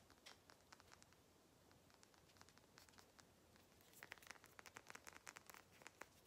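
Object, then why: Small glass dropper bottle with cap. Long nails tap a small frosted glass skincare dropper bottle with a white cap and label, holding liquid, hitting both the bottle and the cap. Quick, light, dry clicks sound over a soft hiss, growing louder and denser after about four seconds.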